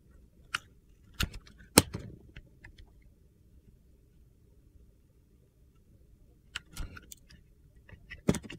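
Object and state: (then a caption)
Bar of soap being cut. A metal box-cutter blade slices and peels strips from a solid, palm-sized bar of soap with a red coating and a yellow inside. Sharp, crisp cutting clicks with bright crackle come in bursts over a low, steady rumble, with a quiet pause in the middle before a few more scraping cuts.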